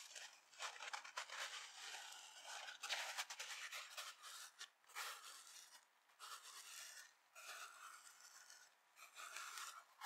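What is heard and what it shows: Long nails scratch a dry, palm-sized yellow foam kitchen sponge held up close, first across its dark abrasive scouring pad side and then across the yellow foam side. The sound is a bright, dry, raspy scratching in uneven bursts with short pauses between them, and there is no low end.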